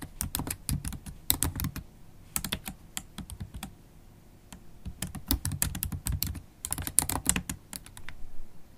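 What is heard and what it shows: Long holographic acrylic nails and fingertips type continuously on a MacBook Pro keyboard with black plastic keys in an aluminium body. Rapid bursts of light, clicky keystrokes with bright ticks and a soft low thud underneath come in three flurries, separated by sparser taps and brief pauses.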